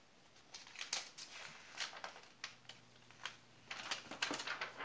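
Fingertips grip and turn the thin pages of an open glossy paper magazine with food pages lying on a lace tablecloth, flipping and rubbing the paper. A series of crisp, bright rustles and soft papery crackles comes in short bursts, with quiet gaps between turns. A faint low hum runs beneath the second half.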